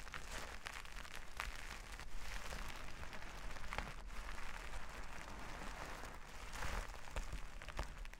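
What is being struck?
Plastic sequin fabric.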